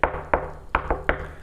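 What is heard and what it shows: Knuckles knock five times on the wooden top of an Armour gaming table, each a short, dry, hollow knock that dies away almost at once. The top sounds like real wood rather than chipboard or melamine board, though it may not be solid wood; the maker calls it re-engineered wood.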